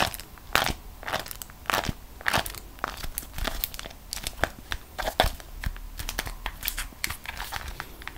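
A single folded beeswax-coated cotton food wrap, a thin, flexible waxed cotton sheet printed with vegetable drawings, is held in both hands and squeezed and bent with the fingertips and long acrylic nails. It gives dense, irregular crackles and crinkles with sharp, bright snaps scattered over a soft, rustling bed, each dying away almost at once.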